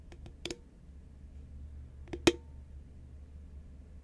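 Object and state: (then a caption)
Cardboard chip can. Long fingernails on both hands tap the sides of a tall, cylindrical cardboard Pringles can made of composite paperboard, held upright in both hands. Three short, dry clicks sound with a hollow body around 344 Hz and a bright edge, dying away almost instantly. The loudest click comes late, over a steady low hum.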